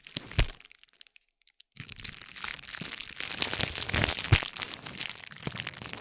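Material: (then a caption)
Plastic. A silver metal spiked roller, held by the fingertips, is rolled and pressed across a flat stacked pad of green and pink plastic bubble wrap lying on a gold plate. A sharp crack opens the clip, followed by a brief near-silence and then dense, bright crinkling and crackling that builds to a loud pop before easing off.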